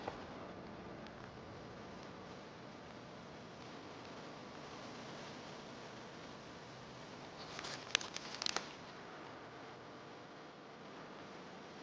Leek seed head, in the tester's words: It's also like a little maraca in the garden if you give it a shake. Hear all those seeds rattling around.